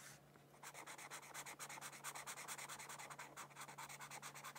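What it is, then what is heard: Marker scratching on a paper sheet. A felt-tip marker strokes and scratches back and forth across a thin white paper mandala coloring sheet lying on a book. After a brief soft rub, rapid scratchy strokes follow in quick succession, each a bright, papery hiss, over a faint steady low hum.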